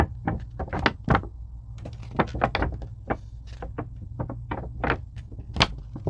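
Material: Foam.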